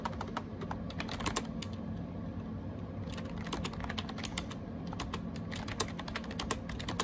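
Fingertips type rapidly on the round plastic keycaps of a gray AJAZZ 308i wireless Bluetooth keyboard. Quick, bright, clicky key taps come in bursts, with a sparser lull around the middle, over a steady low background rumble.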